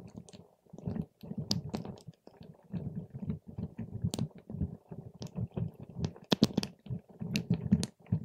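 A paper straw is stirred and poked through a clear plastic cup full of purple water gel beads. The result is a steady, low, wet squelching and squishing, with short bright clicks and pops scattered throughout.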